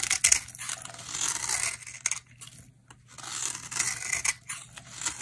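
A utility knife blade shaves curly flakes off a solid, hand-sized dry green bar of soap held in the hand. Dry, bright scraping and crackling strokes come in bursts, with a brief quiet gap midway, and almost no low end.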